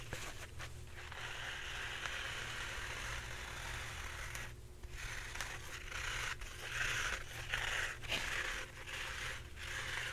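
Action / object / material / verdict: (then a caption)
scrape / roll of paper towels / paper / none. Red-painted fingernails scratch and rub along a full, upright roll of white embossed paper towels. The result is a continuous, dry, crinkly scraping with bright papery texture, rising and falling in uneven strokes over a steady low hum.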